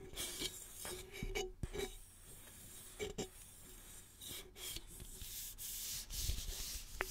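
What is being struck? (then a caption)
Empty aluminum soda can. Fingertips and nails rub and scratch along the top and sides of a single hollow red aluminum soda can. Soft, bright scraping hiss comes in uneven bursts, with light clicks and a faint metallic tone that fades almost at once.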